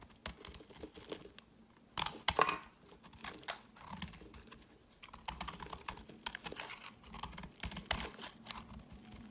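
A hand-sized solid green bar of soap, held in the hand, is scraped and carved with a metal utility knife blade, shaving off crumbly pieces. Quick, dry, bright scraping strokes come in bursts, with a few louder crisp scrapes near the start and end and soft crumbling between them.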